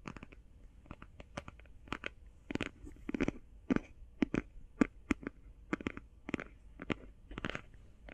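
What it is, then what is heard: Cardboard eyeshadow palette. Long painted fingernails tap and scratch a flat, rectangular, hand-sized cardboard eyeshadow palette. Quick, dry, crisp taps come in an irregular rapid rhythm, with a soft low-mid body and bright clicky edges. Short scratchy bursts fall between the taps, and each sound dies away almost instantly.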